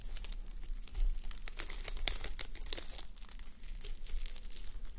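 Long nails and fingertips scratch and rub across a flip-sequin sleep mask, plastic sequins on fabric, worn on a mannequin head. A steady stream of bright, crinkly clicks and rustling fills the clip, with sharper glinting ticks as the sequins flip over.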